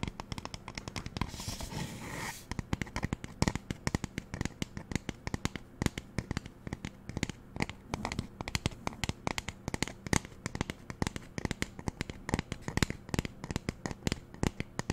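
Fingernails tap rapidly on the sides of a magenta plastic spray bottle held close to the mic, producing a dense stream of short, dry, hollow clicks with no ring. Near the start, a brief broadband rushing hiss runs under the taps for about a second.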